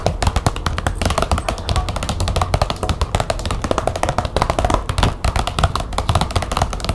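Long nails tap quickly and scratch across the flat surface of a large glossy green plastic folder lying on a table. A dense, rapid stream of short clicky taps, each with a dull low thump and a bright crisp edge, runs steadily over a soft scratching rustle. There are no pauses.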